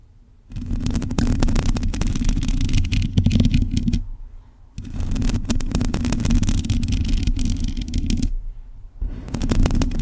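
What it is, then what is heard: Metal microphone grille scratched with nails. Long pointed nails of both hands scratch a black metal mesh microphone grille, producing a dense, rapid crackle with a heavy low rumble and bright scratchy edges. The scratching comes in three bursts separated by brief quiet pauses.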